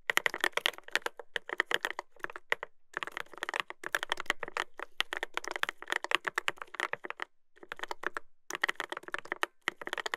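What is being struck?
Mechanical keyboard with plastic keycaps on a metal plate.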